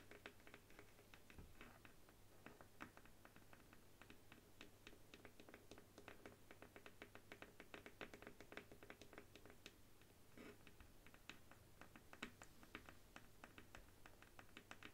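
Long nails tap and scratch the flat, solid bamboo handle of a paddle hairbrush resting on a wooden table. The result is a quiet, steady stream of quick, dry clicks with very short ring and a soft scratchy texture over a low hum.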